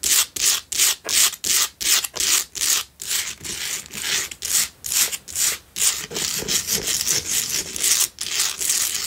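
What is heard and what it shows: Long nails scratch vigorously up and down the sides of a pink Himalayan salt single tealight candle holder resting on a dark cloth. Quick, bright, gritty rasping strokes repeat at a fast, uneven rhythm, sharply separated at first and then blurring into a more continuous scraping hiss with almost no low end.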